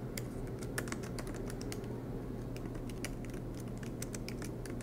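Fingertips tap quickly on the black plastic keys of an aluminum MacBook Pro laptop keyboard, making a steady stream of light, bright typing clicks. The clicks sit over a constant low background hum.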